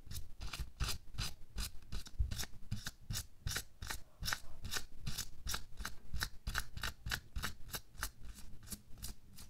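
Bare fingertips scratch and rub over a thin pink latex or nitrile glove worn on a hand lying flat. The result is a steady run of quick, dry, scratchy strokes with bright, hissy edges over a low rumble, each stroke stopping almost at once.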